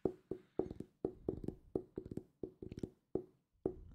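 Fingertips tap on a solid purple hardcover book, making a quick series of dull, woody knocks in uneven clusters. Each tap has a muted tone of about 380 Hz and dies away almost at once, with no bright edge.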